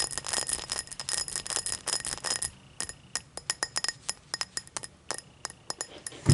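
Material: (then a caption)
Crystal glass. Long matte black nails tap the hollow body of a tall, empty cut-crystal highball glass lying on a towel. A fast flurry of bright, short clinks carries a faint steady high ring, then slows into sparser, evenly spaced taps. It ends with a soft low thump.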